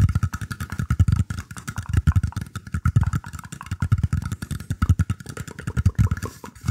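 Fingertips scratch and tap a round, shallow woven bamboo tray tilted near the microphone. The result is a dense, uneven stream of quick, dull thumps and rustling scrapes, deep and boomy in tone, with a faint steady mid-range hum underneath.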